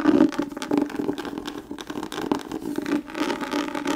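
Long nails scratch and tap across an embossed brown leather book cover held in the hands. The result is a continuous dry, scratchy rustle with steady midrange grit, soft bright crackles and light taps mixed in.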